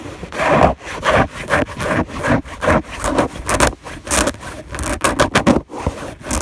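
Long nails scratch back and forth across a white fabric bed sheet on a bed, heard up close. Each stroke is a dry, rasping rub with a midrange hiss, some with bright edges, separated by short quiet gaps.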